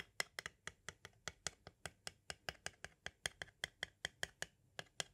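A pointed tool taps and traces near the bottom edge of a small, hollow white hard-plastic audio cassette shell, giving about 26 quick, quiet taps. Each tap is a sharp, bright click with a faint hollow ring near 2 kHz that dies away almost at once, with very little low end.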